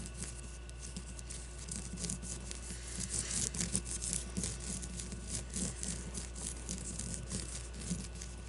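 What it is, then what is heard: Leather baseball. Long blue-painted nails scratch and tap a solid leather baseball with red stitching. A rapid, irregular run of dry, bright scratches is mixed with short, soft taps that die away almost at once. A steady low hum runs underneath.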